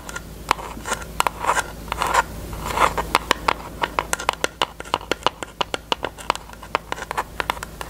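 Long nails tap and scratch a small, thin pink plastic eyelash tray piece that has been taken out of its case. Soft scraping rasps in the first few seconds give way to quick, irregular, dry plastic clicks that peak near 1 kHz with bright tops and die away almost instantly.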